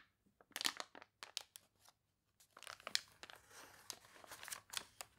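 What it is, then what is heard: Water-wrinkled paper catalog pages. Long dark-painted nails and fingertips scratch, rub and press the wavy, water-wrinkled pages of a large open glossy paper toy catalog lying flat on a polka-dot tablecloth, with page turns between. Short, bright, crisp crinkles and crunches come in irregular bursts, with a brief quiet gap near the middle and a softer continuous rustle later on.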